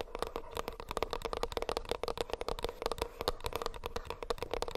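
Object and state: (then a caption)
Earbuds case tapped. Fingernails tap rapidly and continuously on a plastic earbuds case. The sound is a dense stream of short, crisp clicks with a faint hollow tone around 460 Hz and a bright edge, each tap dying away almost instantly.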